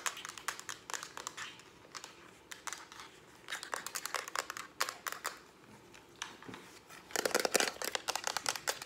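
Long acrylic nails tap fast on the front and back of a hollow, hand-held lilac plastic Instax instant camera. The result is bursts of sharp, dry, bright clicks with almost no ring, hollow around 520 Hz. The tapping comes in quick flurries and builds to its densest, loudest run near the end.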